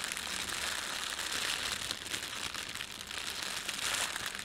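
Fingertips pinch, rub and crumple the thin film of an empty, red printed plastic bread bag. A steady, dense crinkling runs through the whole clip, bright and crisp with almost no low end. It swells slightly in loudness near the start and the end.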